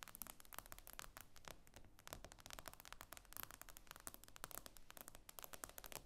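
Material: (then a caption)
Glass. Long nails tap and scratch across the glass screen of an iPad lying flat. The result is a quiet, rapid run of sharp, bright clicks mixed with soft scraping, each tap dying away almost instantly.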